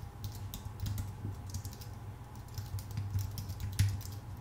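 Both hands type with their fingertips on a full-size white Apple Magic Keyboard, its plastic keycaps set on a thin aluminum body. The result is a quiet, steady stream of soft, quick key clicks with short, bright ticks. A low, constant hum runs underneath, and one keystroke near the end lands louder than the rest.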